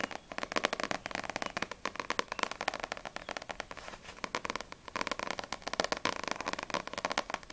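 A small paperback manga, No.6 volume 5, with a glossy paper cover, is held solidly in both hands and tapped fast on the front cover with long nails. The result is a dense, continuous stream of crisp, dry clicks with bright, papery highs, a midrange body and almost no low end.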